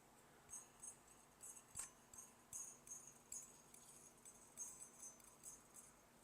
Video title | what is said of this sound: Vintage GE 300-Watt Inside Frost Incandescent Light Bulb - rapidstart_12 | if you tap the bulb you can hear the filament vibrating inside